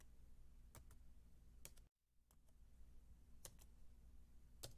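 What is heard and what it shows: A white low-profile Apple keyboard with plastic keys on a thin, solid aluminium base about 28 cm wide is typed on slowly with the fingertips and long dark-painted nails. Sparse, crisp clicks come in close pairs with bright, short tops over a quiet, steady low hum. The background drops out briefly just before the two-second mark.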